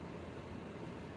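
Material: Nothing is struck.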